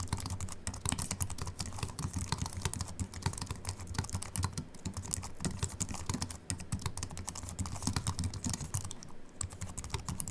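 Fingertips of both hands type continuously on a slim Apple Mac keyboard with an aluminium body and white plastic keys. A steady, rapid stream of soft, short key clicks rolls on without pause, each tap a dull low thump topped by a brief bright tick that dies away almost at once.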